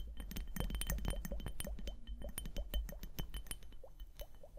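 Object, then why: Plastic liquid hourglass. A small clear plastic liquid hourglass, full of liquid and beads and held upright, is tapped and scratched with long painted nails. Quick, irregular clicky taps and light scratches ring briefly over a steady low hum, with bright clinking accents throughout.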